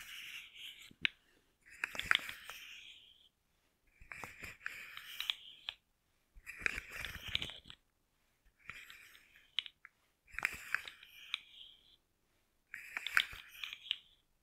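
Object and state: Plastic articulated slug fidget toy.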